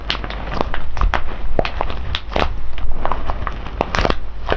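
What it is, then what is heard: Foil coffee bag full of whole beans. A large, sealed silver foil-laminate coffee bag full of whole beans rests on cloth and is pressed, squeezed and rubbed with the fingertips of both hands. Dense, crinkling crackles and crunchy shifting sounds rise and fall over a low, muffled rumble, each crackle dying away almost at once.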